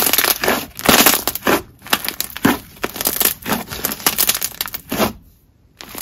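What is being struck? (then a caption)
Jelly slime. Green jelly slime is stretched into a long band and squeezed in both fists, giving a run of wet, crackling squishes with bright, airy crunch. The sound comes in short bursts with little low end, and goes briefly quiet near the end before the squishing starts again.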